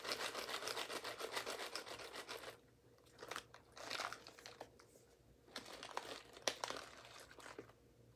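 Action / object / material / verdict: scrape / foil-lined paper coffee bag / paper and foil / none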